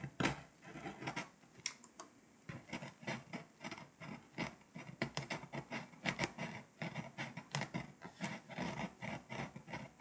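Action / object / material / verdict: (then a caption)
scrape / foil-coated paper scratch-off map / foil-coated paper / none. A pink scraper held in the fingers scratches the foil layer off a flat foil-coated paper scratch-off world map lying on a surface, working over Lithuania and leaving flakes behind. About thirty short, dry scraping strokes come in quick, uneven bursts, each with a bright, papery rasp and almost no ring between them.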